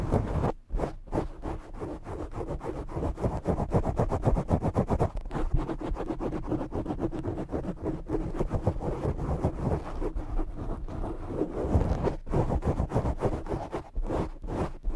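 Short fingernails from both hands scratch fast and continuously over a black foam microphone windscreen. The result is a dense, rapid run of rough, muffled scraping bursts with a heavy low-frequency thump and almost no high end, pausing briefly near the start.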